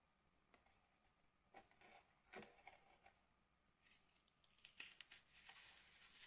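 Fingertips and a palm press into and crush a large, flat red and yellow flower shape made of dried sand mixed with cornstarch paste, lying on a plastic sheet, as pink powder breaks off the solid, crumbly slab. Quiet, bright, gritty crunches and crackles come in short, irregular bursts over a soft hiss, growing denser toward the end.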